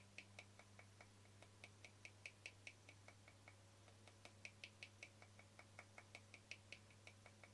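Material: Plastic.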